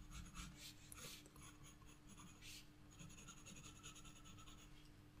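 A black graphite pencil held in the fingertips scratches and shades across the flat paper of a spiral-bound sketchbook page bearing a flower drawing. Quiet, continuous scratchy rasping comes in bright bursts of hiss as the strokes move back and forth, over a steady low hum.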